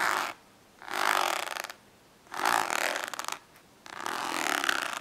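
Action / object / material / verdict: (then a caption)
scrape / ribbed plastic index card case / plastic / none. Long acrylic nails scratch and tap across a hollow orange ribbed plastic index card case lying flat. Four separate bursts of dry, raspy, bright scratching are heard, each with a fast ridged clicking texture from the ribs, separated by near-silence.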